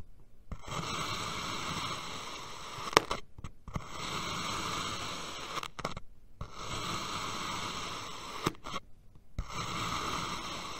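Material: Kinetic sand.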